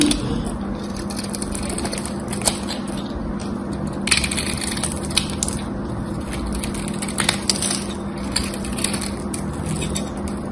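A small knife blade carves a whole gold-coated, embossed solid soap bar into dry, crumbly shavings, producing a continuous gritty scraping and crunching. Sharp, bright cracks and ticks break through at intervals over a steady low hum.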